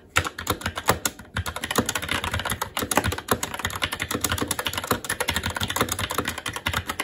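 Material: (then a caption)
Plastic. Fingertips of both hands type continuously on a SteelSeries Apex 7 TKL mechanical keyboard with red linear switches, black plastic keycaps and an aluminum plate. Rapid, short, bright clacks come in a dense stream, with a brief pause near the start. Each tap dies away almost instantly.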